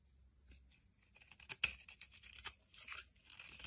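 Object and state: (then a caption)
Bar soap being carved. A metal blade carves and scrapes shavings off a solid pink bar of soap held in the hand. Quiet, bright, crisp scraping and crunching strokes come in short bursts, with one sharper, louder snap partway through. There is almost no low end.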